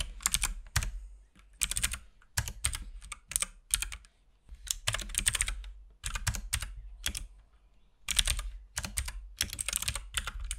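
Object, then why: Plastic mechanical keyboard. Fingertips type continuously on a compact RGB-backlit mechanical keyboard with plastic keycaps and a hollow case. The clip is made of bursts of sharp, bright key clicks with a low, hollow thump beneath them, separated by short pauses.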